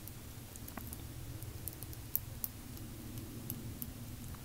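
Long painted fingernails tap lightly on the glass sides and plastic cap of a small square glass nail polish bottle filled with pale pink polish, held in both hands. Sparse, faint, very short high clicks sound over a steady low background rumble, with two sharper taps standing out near the middle.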